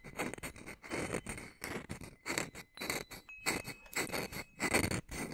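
A small hanging wind chime with hollow metal tubes under a wooden top bar is held up by its string while its wooden striker piece is rubbed and scraped along the tubes. The result is a run of squeaky, scratchy scrapes in uneven bursts, with bright, thin metallic tones ringing faintly through them.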